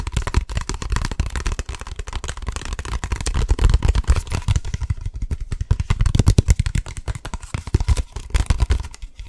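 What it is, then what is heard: Energy drink bottle, tapped. Fast, aggressive tapping on an energy drink bottle produces a rapid, continuous stream of short, dull taps. The taps are heavy in the low end with only faint brightness, and each one dies away almost instantly. The pace surges and eases over the clip, and no voice is heard.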